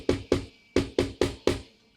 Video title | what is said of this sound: Amstrad PCW review (Amstrad spring over membrane) | the cases are very hollow and thin and don't feel sturdy at all, and when you tap or type on them, you can hear all the springs vibrate